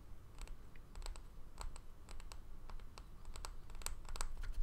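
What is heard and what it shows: A small, solid, round bamboo jar lid is held on its edge and tapped and scratched with fingernails. Quiet, irregular, bright clicks and light scratching sounds ride over a steady low rumble, each tap dying away almost at once.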